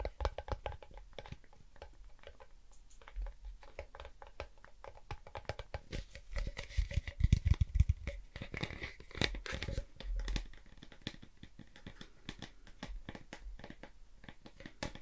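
A blue Pringles crisp can, a tall hollow composite cardboard tube with a foil lining, is held in the hands close to the microphone and tapped and handled with the fingertips. Quick, irregular, dull taps with a low, hollow thump mix with soft scratching and crinkling. The handling grows louder for a short stretch in the middle.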